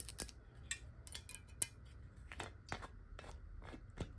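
Long nails tap and scratch quickly along the ridged base and sides of a clear glass water bottle. The result is a series of sharp, bright clicks and light scrapes that die away almost instantly, over a faint low background hum.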